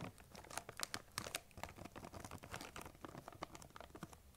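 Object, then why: Plastic candy bag. Long nails tap and scratch across the top of a large, printed plastic M&M's candy bag that appears full. The result is a quiet, dense run of quick, bright crinkling clicks and rustles, with sharp taps standing out over a soft scratching texture.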